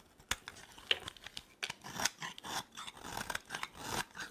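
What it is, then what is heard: Dry soap bar being carved. A utility knife blade carves a dry, solid green soap bar, making crisp scraping and cutting sounds. Sharp, bright clicks and crackles come through with little low end and almost no ring, mixed with rougher scraping passes.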